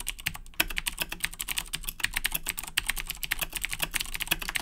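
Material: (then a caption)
Plastic. Fingertips of both hands type continuously on a black Razer BlackWidow 2010 Edition mechanical keyboard with Cherry MX Blue switches and plastic keycaps, resting on a desk. The result is a rapid, steady stream of sharp, bright clicky key taps centered around 2.7 kHz, each dying away almost instantly, over a faint low hum.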